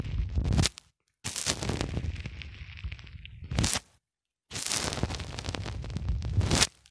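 Fingertips repeatedly press a small black plastic cylinder into a white polyethylene foam block. The result is dense, close crackling and creaking with a heavy low-end rumble and bright edges. It comes in long bursts separated by brief silences.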